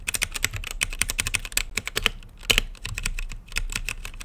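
Fingertips type steadily on a full-size mechanical keyboard with plastic keycaps and Gateron brown switches, set in a translucent RGB-lit case. Rapid, bright, clicky keystrokes overlap with a soft low thud beneath, each stopping almost instantly. There are short pauses between bursts.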